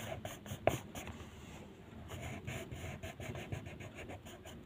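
A blue wooden colored pencil is rubbed back and forth in short strokes over a single sheet of white paper printed with a mandala, lying flat on a table. It makes a soft, steady scratchy rasp with bright, hissy edges, with one sharper tick early on.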